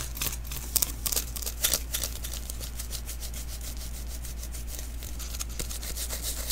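Fingertips rub and tap the tacky outer layer of a small hollow adhesive paper roll, a sticky lint roller refill, held in the hands. Quick, irregular sticky crackles and soft ticks with a bright, papery edge run throughout, with a few louder snaps near the start. A steady low hum sits underneath.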